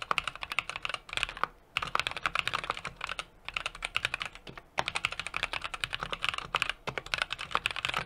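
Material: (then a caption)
Aluminum, plastic. Fingertips type continuously on a small 60% mechanical keyboard with an aluminum case, brass plate and plastic keycaps. Dozens of rapid, bright, sharp clacks come in quick bursts, each dying out almost instantly, with a few brief pauses between runs.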